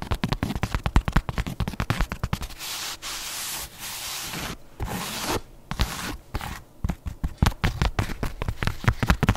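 A leopard-print canvas espadrille shoe is held sole-up in one hand while long nails scratch and tap its fabric and sole. Quick, dry taps come first, then a stretch of steady, hissy scratching strokes. A final run of rapid tapping closes the clip.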